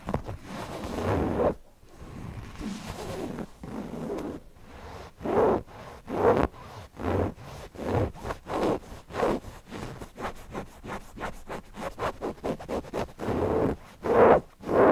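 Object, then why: Stuffed cotton fabric cushion with embroidered appliqué. Fingertips and nails scratch over the embroidered appliqué eyes of a stuffed cotton owl cushion. A steady run of short, uneven scratchy strokes comes in rough bursts, about one and a half per second. The sound is dry, mid-toned fabric rasping with little ring.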